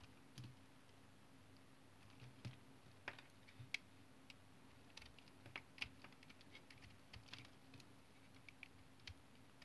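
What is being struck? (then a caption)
Tar soap bar cut with a knife blade. A utility knife blade rapidly shaves thin slices from a solid brown tar soap bar held in the hand. Soft, quiet scraping cuts come in an irregular series of sharp, bright clicks over a low steady hum.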